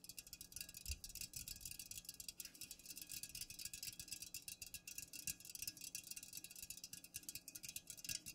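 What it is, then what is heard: Aluminium drink can. Long nails fast-tap the sides of an unopened, full Pepsi aluminum can standing upright, with both hands working at once. The result is a dense, continuous stream of quick, bright, high clicks that stop dead with no ring, over a faint steady low hum.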